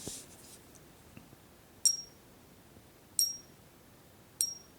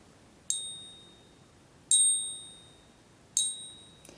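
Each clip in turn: First: Three sharp, high pings that die almost at once: a counterfeit silver coin with no real ring. Second: Three bright, high strikes, each ringing clear for about a second: a genuine silver coin.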